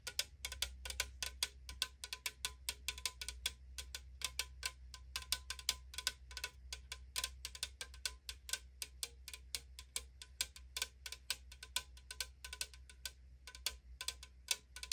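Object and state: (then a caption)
Aluminum drink can. Long acrylic nails tap and scratch along the side of a tall, printed AriZona aluminum tea can, a hollow, thin-metal can that appears sealed. Quick, bright, tinny clicks and scrapes fall in a rapid, uneven stream, each dying out almost at once, over a steady low hum.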